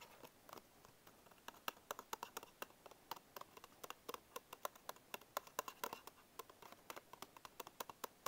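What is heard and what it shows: Fingertips tap the end and front panels of a small paperboard Bisco biscuit box held in one hand. About 46 quick, dry taps follow one another in a fast, uneven patter, each a short, hollow tick centred near 1 kHz with a bright edge that dies away almost at once. The level is quiet throughout, with hardly any low end.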